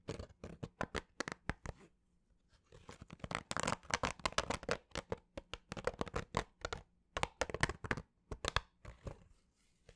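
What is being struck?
Fabric baseball cap.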